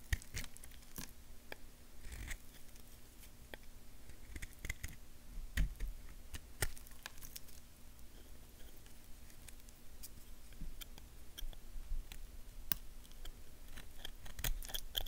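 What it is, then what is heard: Bar of soap being carved. A small, solid tan bar of soap is held in the fingers while a purple knife scrapes and carves small flakes off it. The result is a quiet, steady stream of short, dry scraping clicks and crisp crackles with bright edges, over a faint low hum.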